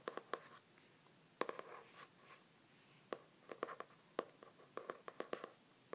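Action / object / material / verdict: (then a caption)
tap / laminated hardcover journal / laminated board / none. Fingers and nails tap rapidly on the front cover of a glossy laminated hardcover journal with a stained-glass print, held in both hands. About nineteen quiet, sharp clicky taps come in irregular bursts with brief pauses, each with a hollow tone near 500 Hz and 1 kHz that dies away almost instantly.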